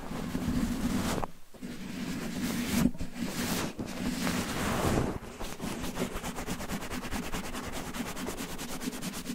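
Fingertips rapidly scratch and rub a red cotton terry towel covering a microphone, producing a dense, muffled rustle with a steady low drone. The noise is heavy in the low end with little high content, and it drops out briefly a few times before settling into quicker, rhythmic rubbing.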